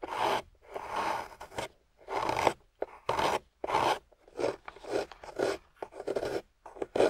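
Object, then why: Wet clay block scraped with a metal loop tool. A small metal loop tool scrapes and carves a solid, water-soaked grey clay slab. Short, gritty rasping strokes come one after another with brief pauses between them, each a soft, moist scrape with a mid-range body and a faint bright edge.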